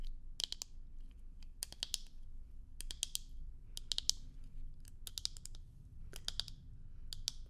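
Long nails tap on the frame and lenses of a pair of black plastic sunglasses held in one hand. Quick, sharp, bright clicks come in short rapid clusters separated by brief pauses, over a steady low background rumble.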